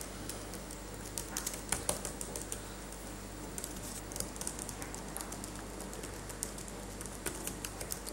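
A latex-gloved hand taps the plastic keys of a dirty laptop keyboard with its fingertips, producing soft, irregular, bright clicks in short clusters. A steady low hum runs underneath the tapping throughout.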